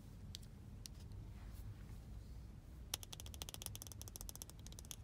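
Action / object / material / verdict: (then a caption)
tap / small plastic earbud case tapped with fingernails / plastic / none. Long blue nails tap and scratch the lid and body of a small, hollow, glossy white plastic AirPods case held on the knee. A few sparse, sharp clicks come first, then a rapid run of bright, crisp clicks over a steady low hum.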